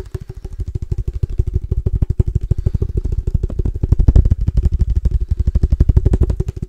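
Fingertips tap quickly on a case for padel balls. About 47 rapid, dull, low thuds sound in an uneven stream, with a faint hollow tone around 400 Hz and almost no high-frequency sound. Each tap dies out almost instantly.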